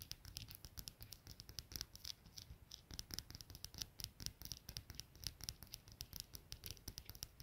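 Long nails and fingertips tap and scratch the body of a small solid brass padlock with a steel shackle lying on a plaid wool blanket. The result is a quiet, steady stream of quick, crisp, bright clicks and scratchy rasps that die away instantly, with a soft low thump under some taps.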